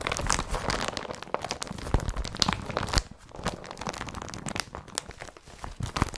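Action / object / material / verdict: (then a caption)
scrape / woven polypropylene carrier bag / polypropylene / none. Hands rub an empty blue woven polypropylene IKEA BRATTBY carrier bag, producing dense, crinkly rustling with sharp bright crackles that is loudest in the first three seconds. It then settles into quieter, drier scratching as fingertips scratch across the bag's flat surface.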